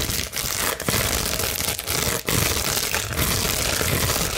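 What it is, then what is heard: Plastic bubble wrap being scratched. A large, clear plastic bubble wrap sheet, held flat, is scratched with long nails, making a dense, fast, bright crinkling and scratching rasp. The sound runs almost continuously, with only a few brief dips between strokes.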